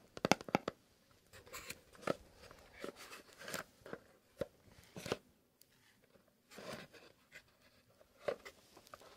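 A small, closed, hollow kraft cardboard "Fox" box is held in both gloved hands and tapped and scratched with fingernails. Sharp, dry taps with a hollow knock are heard, followed by softer, papery scratching and crinkling. The sounds come in quiet, uneven bursts with no ring after each hit.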